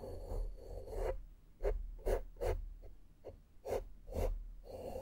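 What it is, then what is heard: Foam microphone windscreen being brushed. A small flat makeup brush is brushed against the sides of a black foam microphone windscreen. Soft, muffled, close rustling swells at the start and end, with seven short separate strokes in between. The sound is low and dull, with no bright edge.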